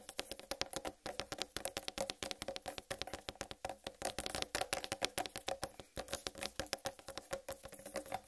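A large, whole, uncut watermelon with a solid green striped rind is tapped rapidly with long red nails. The result is a quiet, steady stream of dozens of short, dry, clicky taps with a hollow mid tone around 400 Hz and a bright edge, each dying away almost instantly.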